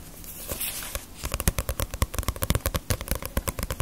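Fingernails tap the glossy paper cover and spine of a small, solid Ace of Diamond paperback manga volume. After a quiet, hissy first second, a quick, uneven run of sharp, dry clicks begins, each with a dull low thud and bright snap that dies almost instantly.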